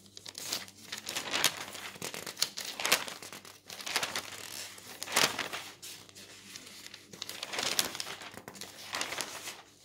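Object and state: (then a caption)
Newsprint newspaper. A paper newsprint newspaper lies flat on a table while a palm rubs the page smooth and fingers turn its thin sheets. The result is bright, dry crinkling and rustling that swells into repeated crisp bursts as each page moves, with almost no low end.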